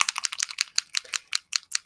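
A small plastic ink re-inker bottle is shaken so the metal mixing ball bearing inside rattles, freeing it from the ink that has settled at the bottom so the ink can mix. The sound is a quick series of sharp, bright, high-pitched clicks with almost no ring. The bearing comes loose and the ink is seen to have all moved.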